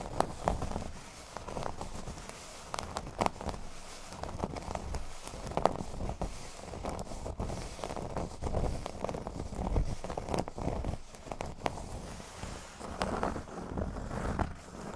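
A flat, thin, solid cork board resting on a table is scratched with curled fingernails. The result is a continuous dry, crackly scraping and rustling texture with frequent short ticks and soft bumps, mostly low and muffled, with little high brightness.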